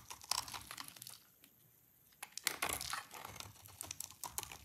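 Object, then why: Bar of soap. A hand-sized solid orange soap bar, dry, held in one hand and scraped repeatedly with a small utility-knife blade so the shavings fall onto a pile below. Bright, dry scratching and crinkly scraping strokes come in quick bursts, with a short quiet pause in the middle before the scraping resumes.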